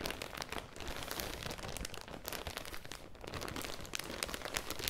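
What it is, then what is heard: Thin plastic bag crinkled. Long dark-red nails and fingertips crumple and scratch a thin, clear, crinkly plastic garment bag holding a folded cream sweater, held close to the mic and lifted partly away. A dense, continuous crackle of bright crinkles and scratchy rustles runs throughout at a steady level, with no ring after each sharp snap.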